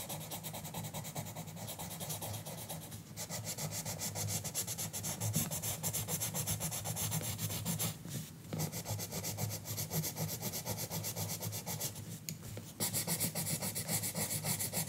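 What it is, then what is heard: Colored pencil on coloring book paper. A green colored pencil makes steady, scratchy coloring strokes across a page of an open paper coloring book lying flat on a counter, while the other hand holds more pencils still on the book. The rubbing is continuous, with a bright papery hiss over a low steady hum, and it pauses briefly around 3, 8 and 12 seconds.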